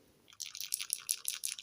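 A plastic brush-tip alcohol-ink marker is shaken, and the small mixing ball inside rattles in a quick run of about ten bright, clicky ticks after a short quiet start. The marker is shaken so the ball mixes the ink before use.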